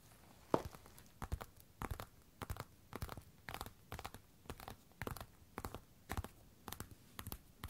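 Long red and black nails tap and scratch the hard toe caps of a pair of worn black glossy patent platform boots resting on a wooden floor. Quiet, dry clicks and short scratchy bursts come in steady clusters about every half second, with almost no ring between them.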